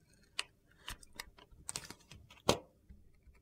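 A solid rectangular bar of opaque red-yellow soap, held in the hand, is shaved and sliced with a metal utility knife blade. The result is a series of quiet, short, crisp scraping clicks with bright tops, the sharpest and loudest near the end.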